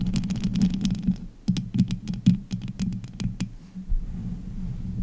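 Long nails and fingertips scratch, tap and grip the hollow, bare metal mesh grille of a pink condenser microphone. A steady low rumble sits under a quick run of sharp, bright clicks and scraping rasps that come in uneven bursts. The taps fade into a softer, muffled rubbing toward the end.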